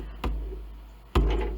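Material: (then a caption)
Wood. Two bangs on the original re-crowned wooden soundboard of a Mason & Hamlin piano, freshly glued back into the case, each giving a deep low thud with a short sustaining boom. The soundboard has good crown and a nice ring.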